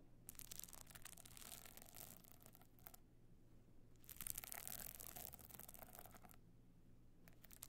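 A stone-chip covered box clutch is held on end while long nails scratch across its glued pebble surface. Two long bursts of bright, gritty scraping are separated by a quieter pause, then a brief final scratch follows, all over a low steady hum.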